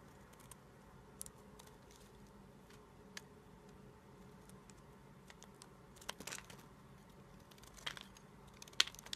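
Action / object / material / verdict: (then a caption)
scrape / soap bar cut with a blade / soap / none. A small, solid cream-white bar of soap is held in the fingers and shaved with a red-handled utility-knife blade, which scrapes and cuts curls and flakes off the bar. Quiet, bright, dry scraping and crisp cutting ticks come in scattered short bursts over a low, steady background.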